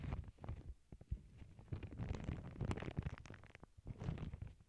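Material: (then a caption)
Paper. Long acrylic nails scratch and rub across the surface of a small, flat, empty lavender paper bag resting on a cork board. The result is a soft, low, rumbling rustle broken by quick scratchy strokes and brief brighter crinkles that rise and fade throughout.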